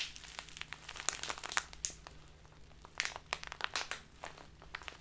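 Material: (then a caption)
Plastic. A full, crinkly clear plastic Biotta tea bag of loose tea is squeezed in both hands with the fingertips, then tilted sideways while being crinkled. Bright, crisp crackles and sharp snaps come in irregular bursts over five seconds. Each crackle is short and dry, with little low end.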